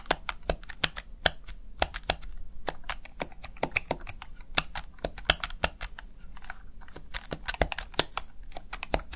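Fingertips tap and press the keys of a small backlit plastic gaming keypad, a Razer Tartarus Chroma, over and over. About 44 sharp, bright plastic clicks sound in an irregular typing rhythm, each dying away almost instantly over a steady low background rumble.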